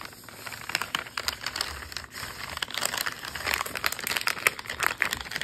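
A full plastic wrapper of cookie dough lies flat on a counter while fingertips tap and scratch the crinkly printed plastic near the top seal. Quick, dry crinkles and clicks come in an irregular stream, bright and crisp with almost no low end. Each sound stops instantly, leaving a busy, rustling texture.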